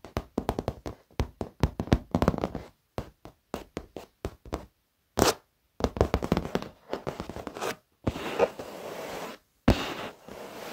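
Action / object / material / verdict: tap / padded leather office chair / leather / none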